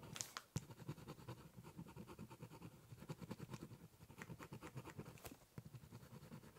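The tip of a ballpoint pen scratches along the edge of a large, hollow, brown corrugated cardboard box while drawing a zigzag line. The result is a steady run of quick, rhythmic scratchy strokes with a low, boxy resonance, and a few sharper clicks near the start and end.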